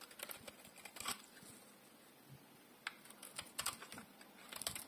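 A solid bar of dry translucent pink soap, held in one hand, is shaved and carved with a metal utility blade. Quiet, crisp, bright scraping and crackling come in short bursts, with near-silent pauses between strokes and almost no low end.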